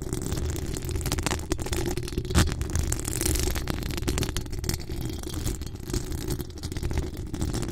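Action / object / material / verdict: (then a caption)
scrape / metal mesh microphone grille / metal mesh / none. Long acrylic nails scratch a hollow metal mesh microphone grille, producing a continuous, dense rasp of crackling scrapes. It is dominated by a deep, boomy rumble with only faint high-end texture. There is a brief louder burst of scratching near the middle.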